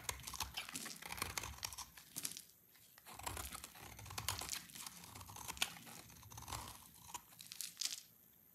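A palm-sized solid bar of dry green soap is held in the hand and scraped and carved with a snap-off utility blade, producing long curled shavings. Dense, bright crackling and crunching scrapes come in bursts with short pauses, each stroke dry and quick with almost no ring.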